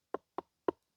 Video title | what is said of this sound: CANDID TALKS: THE SOCKS WERE MADE TO BE WORN BRO | Why does this thing sound hollow?